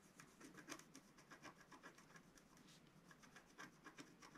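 A wooden stylus scratches lines into the coating of a flat, black-coated scratch-art card. About fifteen quiet, dry, rasping strokes come in an uneven rhythm, each a brief bright scrape that stops almost at once.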